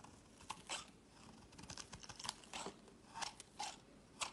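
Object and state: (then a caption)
Bar of soap being carved. A metal utility-knife blade scrapes and carves thin curls and flakes from a solid light-blue bar of soap held in the fingers. Short, dry, crisp scraping strokes come in an irregular series, bright and crunchy with a slight tone near 900 Hz and almost no low end, each stopping dead with no ring.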